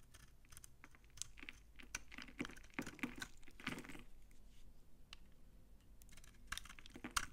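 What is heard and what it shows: A utility knife blade scrapes brittle flakes off a palm-sized solid bar of old, dry brown Farmamed soap with an embossed brand name. Quiet, crisp crunches and short scratchy clicks come at an uneven pace, with bright edges and a faint low thump beneath. The flakes break away dry and sharp, with almost no ring after each scrape.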